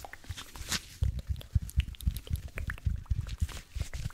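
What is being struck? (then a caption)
Cellulose sponge. A single palm-sized, porous blue cellulose sponge is squeezed, crinkled and scratched with the fingertips close to the microphone. It gives a quick run of soft, low, muffled thumps mixed with faint bright crackles and scratchy ticks. The sounds are dry and close, with almost no ring.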